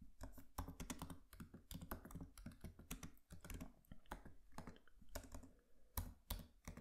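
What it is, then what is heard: Laptop keyboard being typed on. Both hands tap with their fingertips on the black plastic keys of a MacBook Pro laptop keyboard with an aluminium body, in a quick, uneven run of typing. Each keystroke is a short, soft click with a low thud underneath that dies away almost at once.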